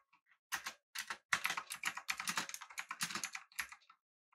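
Both hands type with their fingertips on a full-size, backlit, typewriter-style mechanical keyboard with an aluminum body and round plastic keycaps. Rapid bursts of short, bright, clicky keystrokes clatter together, with brief pauses between them. Each key sound is crisp and dies away almost instantly.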